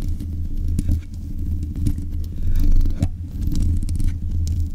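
Long nails scrape the hollow mesh grille of a black metal desk microphone. The result is a dense, boomy rumble concentrated in the low end, with scratchy rustling texture and a few sharp ticks layered on top. The loudness swells and dips as the scraping continues.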